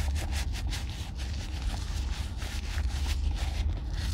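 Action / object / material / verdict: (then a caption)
scrape / leather chukka boot with crepe sole / leather / none. An empty, hollow oiled brown leather chukka boot with a crepe sole, held in one hand, is rubbed with oil by a black nitrile-gloved hand. A continuous soft, low rubbing and scraping drones steadily, with brief brighter swishes of the glove sliding over the leather.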